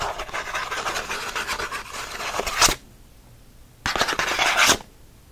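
Fingernails scratch fast across the printed back of a thin cardboard pen-pack card, making a dry, bright rasping. A long burst of rough scraping runs for nearly three seconds and ends on a sharper stroke. After a short silence, a second, shorter burst follows.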